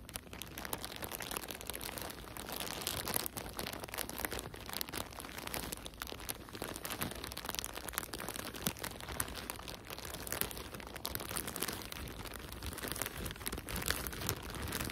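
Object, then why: Thin plastic bag filled with cotton balls. A thin, clear, printed plastic bag full of soft cotton balls is crinkled and rubbed between nitrile-gloved fingertips. It makes steady, dense, bright crinkling and crunching throughout, with quick crackles that stop almost at once. The sound stays quiet and close, with no pauses.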